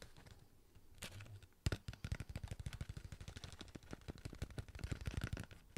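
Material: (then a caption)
Cardboard. A sealed cardboard Pringles chip tube is held in the hand while fingertips and nails tap quickly on its side and lid. After a quiet first second and a half, one sharp tap starts a steady run of dozens of rapid, dull, low thuds with faint bright clicks. Each tap dies away almost instantly.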